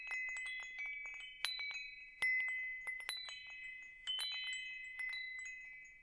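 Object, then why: Metal tube wind chime. A hanging wind chime with hollow metal tubes is tapped and brushed by fingers, held close to the microphone. Bright, sustained metallic tones ring and overlap, with several louder strikes standing out above a steady shimmer of lighter taps as the tones slowly fade.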